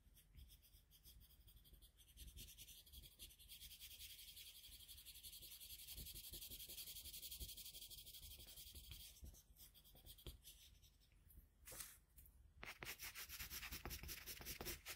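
A colored pencil held in a metal extender rubs and shades across a flat sheet of drawing paper. The result is a steady, bright, scratchy rasp of quick back-and-forth strokes over a faint low hum, growing louder through the middle before a brief lull and a return of brisk strokes.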